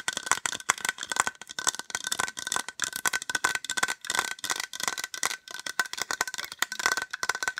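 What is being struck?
Small plastic case.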